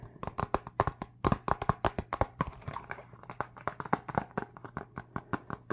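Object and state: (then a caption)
Cardboard card box. A small red printed cardboard box of UNO cards, closed and likely full of cards, is held in both hands and tapped and scratched with fingertips and short nails. Dozens of quick, dry, hollow taps fall in an uneven rhythm, each dying away almost at once, with soft scratchy rustles between them. A faint steady low hum runs underneath throughout.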